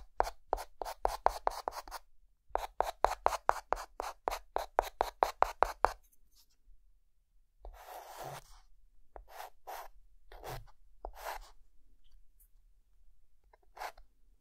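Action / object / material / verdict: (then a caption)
scrape / chalk stick on a slate chalkboard / chalk / none. A white chalk stick held in the hand makes short dash strokes and small marks on a chalkboard drawing of mountains, scratching the board. A quick run of crisp, evenly spaced taps and scratches is followed after a pause by longer rasping strokes and a few isolated bright scratches.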